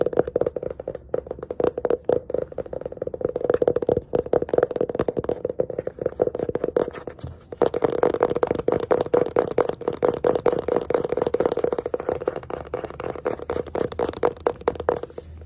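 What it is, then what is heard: Hardcover paper sketchbook. Fingertips and nails rapidly tap and scratch the cover and page edges of a small, solid yellow hardcover paper sketchbook with a pale pink page block and an elastic band, held upright. The result is a dense stream of short, dry, papery taps and scrapes centered in the midrange, with a brief pause near the middle before the tapping resumes.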